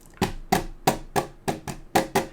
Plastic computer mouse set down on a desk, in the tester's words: you kind of hear something Clank in there